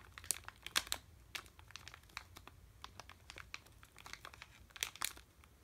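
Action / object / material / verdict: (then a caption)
scrape / sealed plastic candy bag / plastic / none. A sealed red plastic M&M's candy bag, full of candy, is held in both hands and crinkled and rubbed with the fingertips. The result is a quiet stream of bright, sharp crackles and rustles with no low rumble, and louder bursts of crinkling near the start and again near the end.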